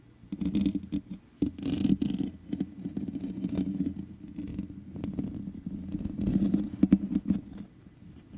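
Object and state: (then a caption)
Metal mesh microphone grille being scratched. Long nail tips scratch across the top of the hollow metal mesh head of a black microphone. Dense, gritty scratching rises and falls in uneven bursts over a low, resonant rumble, with a few sharper scrapes and brief quiet gaps before the sound fades near the end.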